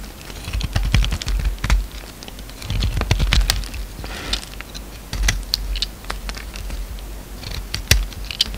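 A utility knife blade scrapes and shaves flakes off a solid orange bar of soap with remnants of black coating, held in one hand. It makes a steady run of short, crisp scraping clicks and brief rasps with bright edges over a low, soft rumble.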